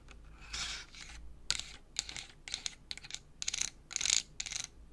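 Long acrylic nails tap and scratch the flat face of a small clear plastic pack with a cardboard label, full of colored pencils, held up close. Quick, bright, crisp taps and scratchy brushes come in uneven bursts, each dying away almost instantly with no ring. The sound is almost all high and thin, with very little low end.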